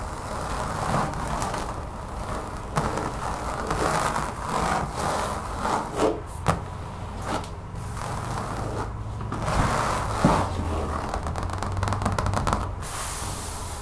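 Long fingernails on both hands scratch and tap across a brown textured rubber mat lying on a table. A continuous dull, low rubbing scrape is broken by scattered sharper taps, and it stays muffled with very little high-frequency content.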